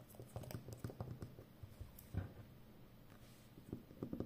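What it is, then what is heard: Roll of plastic packing tape. Long nails scratch and tap on the glossy outer surface of a full roll of brown plastic packing tape. The result is a soft, irregular patter of quiet, low, dull taps with short scratchy bursts and almost no ring.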